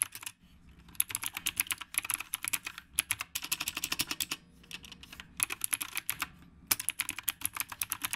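Both hands type steadily with their fingertips on a retro typewriter-style mechanical keyboard with round plastic keycaps. Bursts of rapid, bright, clicky keystrokes come with brief pauses between them. Each click is short and dry, with almost no low end.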